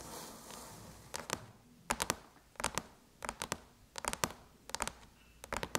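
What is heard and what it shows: Long chrome nails tap the surface of a closed silver aluminum MacBook lid with an Apple logo, making sharp, bright metallic clicks that come in quick clusters of two or three. The taps die away almost instantly, with no ring, over a faint hiss.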